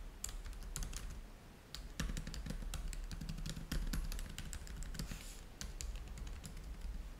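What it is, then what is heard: Plastic laptop keyboard typing. Both hands type rapidly with their fingertips on a black laptop keyboard deck with plastic chiclet keys, while a game controller at the top edge goes untouched. Dense, quick clicky key taps with bright transient snaps run over a steady low hum.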